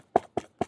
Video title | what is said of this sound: Make a Castle Challenge Introduction | you can hear that this is very sturdy this is really just cardboard